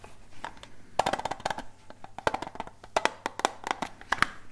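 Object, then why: Small flat metal tin box. A small, flat, rectangular hollow metal tin with a grey lid and silver edges is held in both hands close up and tapped with fingertips and nails. Quick, dry, clicky taps come in uneven bursts, with a bright, hollow knock and almost no ring.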